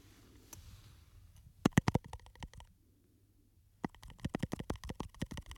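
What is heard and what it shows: Fingernails scratch and tap on a small glass perfume bottle with a textured, studded surface and a silver cap, held in the hands. A soft scratching opens into a cluster of sharp, bright clicking taps, then a brief silent pause, then a faster run of crisp taps to the end.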